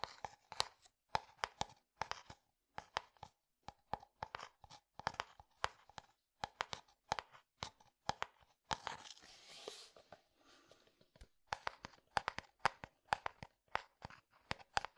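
A clear plastic bottle partly filled with liquid is tapped with a fingertip and nail, giving dozens of quick, dry clicks in short bursts with a hollow tone around 830 Hz and bright edges. Around the middle, the tapping gives way to a brief, softer crinkling rustle before the clicks resume. The sound is quiet and close, with almost no ring after each tap.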